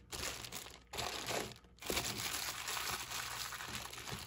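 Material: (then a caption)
Plastic. Fingers squeeze and crinkle the thin plastic wrap around a sleeve of stacked clear plastic cups. Bright, crackling crinkles come in three bursts, with short quiet gaps before the last one runs steadily to the end.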